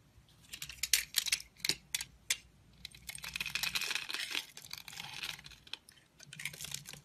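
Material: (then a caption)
Soap. A metal blade scrapes and carves crumbly flakes from the edge of a solid, rectangular, hand-sized orange Essense&Co soap bar held in a hand with long nails. Short, crisp, bright scraping strokes come first, then a denser stretch of continuous gritty shaving and crumbling, followed by a few more scrapes. Each stroke is dry and clicky with almost no ring or low end.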